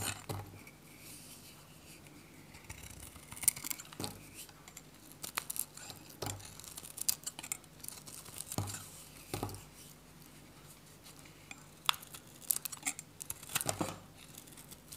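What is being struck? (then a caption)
Bar of soap cut with a metal blade. A metal utility blade shaves small chunks off the edge of a dry, varnished purple and white Godrej No.1 soap bar held in the hand. The result is a run of short, dry, bright scraping crunches and crisp snaps with no ring, over a faint low steady hum.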